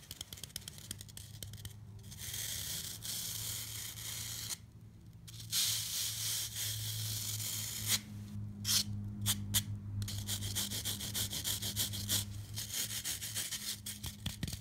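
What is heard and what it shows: A rectangular block of dry, solid green floral foam is held in one hand while the fingertips and long nails of the other hand rub and scratch across its flat face. The result is a dense, crispy, bright scratching hiss over a steady low hum, pausing briefly near the five-second mark. Around eight to ten seconds it breaks into quick separate scrapes before returning to continuous rubbing.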